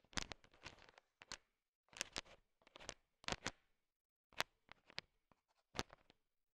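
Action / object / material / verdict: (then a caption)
scrape / heap of sugar-shelled peanut chocolates in a bowl, stirred with a wooden stick / sugar shell / none. A thin wooden stick stirs and taps a bowl filled with a heap of small, hard, sugar-shelled peanut M&Ms, mixing the candy-coated peanut chocolates. It makes quiet bursts of bright, crisp clicking and rattling, separated by short silent pauses. Each clatter stops almost instantly, with no ring.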